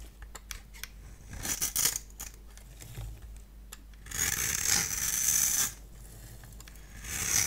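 A multi-blade cutter scores and shaves a dry, solid cream-colored bar of soap held in the hand into crumbly strips. Light, crisp ticks and scratches come first, then a louder, bright, sustained scraping stretch. The scraping swells again at the end as the shavings break away.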